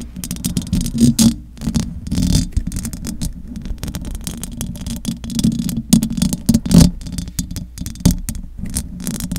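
Long acrylic nails scratch the top of the metal mesh grille on a large silver condenser microphone. The scratching comes through as a dense, uneven rasping with a heavy low-end rumble and a steady low hum, broken by quick bursts of louder scraping and brief quieter gaps.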